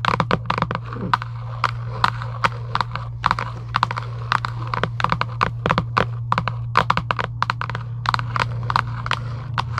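Long acrylic nails tap rapidly on a hollow Giant UNO cardboard game box lying flat, making short, dry, clicky taps with a hollow midrange knock. A steady low hum runs underneath throughout.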